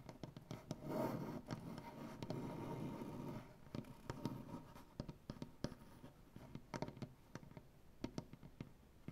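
Painted fingernails on both hands scratch across a solid light-wood butcher-block tabletop, making a soft, low, rustling scrape for the first few seconds. This is followed by a scattered run of quick, dry taps and scratches that die away almost instantly.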